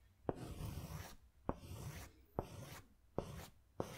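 A pink pastel crayon held in the fingers scratches curved strokes over a large white paper sketch pad. Five sharp taps of the crayon landing on the paper each lead into a soft, grainy scratching stroke with a low rumble underneath, separated by brief quiet pauses.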